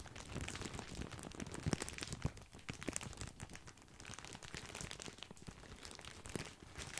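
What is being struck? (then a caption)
Plastic bag of breadsticks. A large, full, white printed plastic bag of grissini breadsticks is crinkled with the fingertips. The result is a steady, quiet stream of dense plastic crinkling and crackling with sharp, short snaps and no ringing tail.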